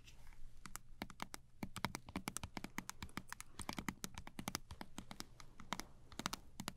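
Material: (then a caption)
Plastic. A small Sensodyne toothpaste tube made of thin plastic laminate is held horizontally in both hands and tapped rapidly along its body with long acrylic nails. The result is a quick, irregular run of sharp, dry clicks with bright edges that stop almost instantly, over a faint low hum.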